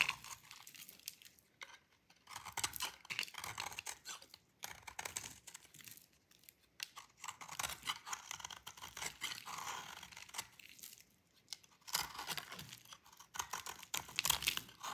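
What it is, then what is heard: Dry bar soap being shaved. A solid rectangular bar of dry yellow-green lime soap is held in the hand and shaved with a metal utility blade, sending crumbly gratings falling off. Quiet, bright, dry scraping and crunching come in bursts of rapid strokes with short pauses between them, with almost no low end.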